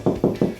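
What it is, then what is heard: Solid drywall over a stud. Four tapping hits on a drywall wall over a wooden stud produce short, dull, low-pitched thuds with almost no high-frequency content and very little ring. The tapped spot sounds solid rather than hollow, showing it sits over the stud.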